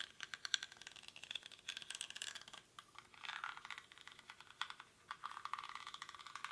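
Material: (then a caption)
Rattan. Fingernails scratch the weave of a small, hollow woven rattan or reed basket held in both hands, its contents not visible. The result is a quiet, dry, bright scratching and crackling made of rapid tiny ticks with no low end, coming in bursts separated by brief pauses.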